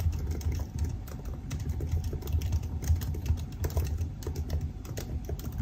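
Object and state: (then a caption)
Laptop keyboard with plastic keys. Fingertips type steadily on the black plastic keys of a silver aluminium laptop, making a quick, continuous run of soft key taps. The clicks are dull and low-heavy, sitting over a steady low hum with little bright content.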